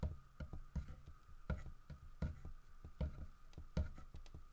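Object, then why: Carved wooden bear statue. Fingertips tap and knock on the body of a large, solid carved wooden bear statue. The result is a loose, irregular run of dull, low, short thuds with almost no ring and little brightness, over a faint steady hum.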